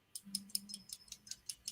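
The large glass rhinestone on a vintage unsigned brooch with a pot-metal back is tapped against a piece of metal nine times. Each tap is a short, bright click with almost no ring, and the sound marks the stone as glass rather than plastic.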